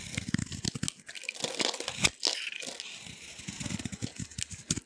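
A utility knife blade shaves and scrapes crumbly curls off a hand-held solid orange bar of dry soap, and the shavings pile up on a yellow surface. The result is a run of dry, bright, crinkly scraping and crunching strokes, each with a short low thud at the start.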